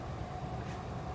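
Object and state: Nothing is struck.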